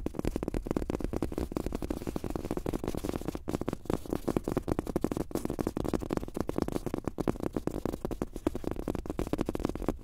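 A large, thin, soft fabric-top rubber mouse pad with a world map print, lying flat on a desk, is tapped quickly with the fingertips and short nails of both hands. The result is a steady stream of rapid, muffled taps that are dull and low-to-mid in tone, each dying away almost instantly.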